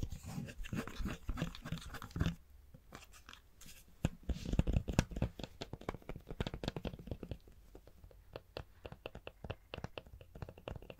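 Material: Plastic.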